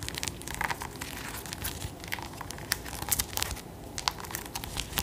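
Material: Squash rind.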